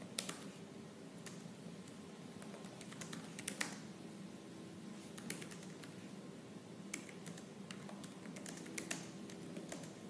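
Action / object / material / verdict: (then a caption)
tap / laptop keyboard with plastic keys / plastic / none. Fingertips with purple nails type fast and hard on the black plastic keys of a silver laptop keyboard. Sharp, bright, dry clicks arrive in irregular bursts, with some louder taps standing out. Underneath runs a quiet, steady low hum.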